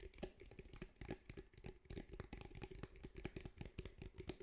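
Fingertips tap about two dozen times on the sides and top of a grey fabric-covered cylindrical speaker, a fabric mesh over a hard hollow body, held in front of the mic. Each tap is a soft, dull, low-heavy knock that dies away almost at once, with a faint hollow tone around 350 Hz. The taps form a quick, irregular patter.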